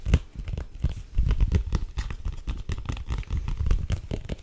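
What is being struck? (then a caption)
Thin cardboard-covered picture book. Long acrylic nails tap and grip the illustrated cardboard cover of a small, thin, solid picture book held up in both hands. The result is a rapid, irregular stream of short, dull, low-pitched taps with soft crinkling scrapes in between, and each tap dies away almost instantly.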